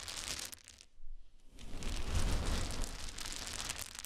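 Hands scoop, rub and let fall a pile of small, light wooden cube chips resting on a blanket. A dense, continuous clatter of small clicks and a soft crumbly rustle comes with a low rumble underneath. There is a brief quieter dip just after one second, then the sound swells again as the chips pour.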